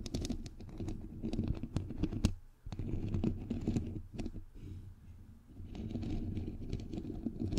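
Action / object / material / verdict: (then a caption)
tap / metal mesh microphone grille / metal mesh / none. Long nails tap and scratch the hollow, perforated white metal mesh grille of a bare microphone head. The result is dense, dull, boomy thumps and scratchy rubbing, heavy in the low end, with short quieter gaps in between.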